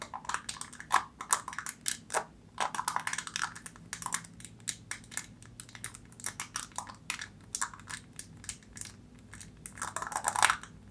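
A silver foil seal on a plastic jar is scratched and pressed with long nails. It gives rapid crisp crinkling and tapping sounds in short bursts. The sound is bright and papery with almost no low end.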